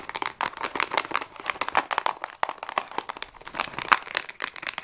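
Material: Cardboard.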